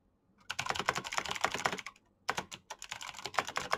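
Fingertips type fast on a black plastic mechanical keyboard with clicky green switches. Two bursts of rapid, sharp, bright clicks are heard, separated by a short pause, each click dying away almost instantly.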